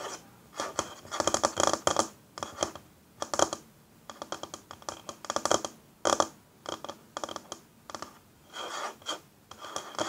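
Long fingernails scratch and tap along the grain of a solid, flat wooden tabletop. Dry, rasping scrapes come in short bursts, mixed with quick light taps. The sound sits in the mids with a bright hiss on top, almost no low end, and no ring after each stroke.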